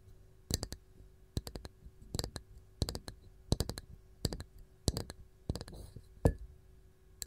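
Long gold nails on both hands tap a round, varnished wooden canister lid with a wooden ball knob. The taps come as quick, dry, clicky bursts in irregular clusters, each dying away almost at once, with a soft brushing sound near the end.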